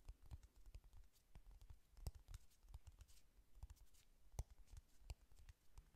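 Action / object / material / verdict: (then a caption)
tap / cardboard eyeshadow palette / cardboard / none. Fingernails tap and click rapidly on the closed cardboard cover of a flat pink "Honey Lust" eyeshadow palette. The result is a quiet, steady stream of short, dry clicks with a soft low thud behind each one and no ring after the hits.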